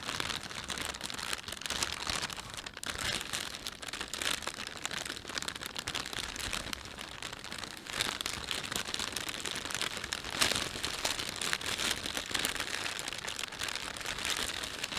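A thin, empty plastic panda shopping bag is folded, rubbed and stretched by hands, making a steady, dense crinkle for about fifteen seconds. The sound is mostly bright and high, with quick rustling snaps and little low end. It swells slightly louder around the ten-second mark.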